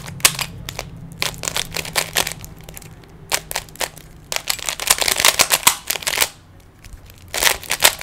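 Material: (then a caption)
Plastic. Fingers twist the faces of a small, solid plastic 3x3 Rubik's cube, producing rapid bursts of bright, dry clicks and clatters that stop almost instantly. The turns come in quick flurries over a faint low hum, with a brief quiet pause before a final loud run of clicks.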